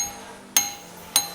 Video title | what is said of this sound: TT Core P3: Urban Camo Edition | if you hit the stainless tube with another piece of metal you'll hear the ting sound